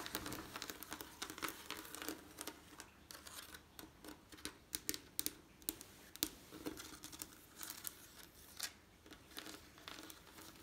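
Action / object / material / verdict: tap / textured glass panes in lead came / glass / none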